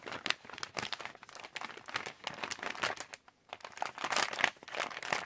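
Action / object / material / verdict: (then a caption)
scrape / plastic candy pouch / plastic / none. Fingertips tap and scratch the face of a yellow Halls resealable plastic candy pouch, and fingers crinkle its top edge. The result is dense, crisp, bright crinkling and ticking with almost no low end, broken by a brief silence just past the middle.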